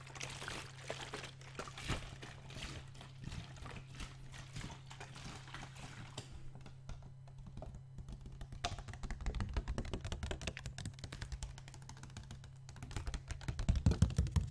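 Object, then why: Plastic water bottle with some water inside. A large clear PET Vittel water bottle with a red cap and some water inside is held in both hands, tapped with the fingertips and squeezed. Soft, irregular plastic taps and crinkles mix with the water sloshing inside, growing busier and louder toward the end, over a steady low hum.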